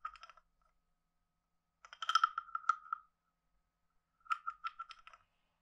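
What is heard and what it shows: A wooden stick is scraped along the ridged back of a hand-sized, hollow, carved wooden frog guiro. There are three bursts of quick ratcheting clicks: a short one at the start, a longer one in the middle, and another near the end. They form a hollow, croak-like rasp centred around 1.3 kHz, with silence in between.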